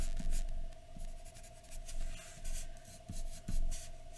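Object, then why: Graphite pencil on a paper sheet. A graphite pencil scratches repeated short strokes across a large flat white paper drawing sheet resting on a dark surface. The quiet, bright, raspy strokes rise and fade in uneven bursts over a steady faint hum.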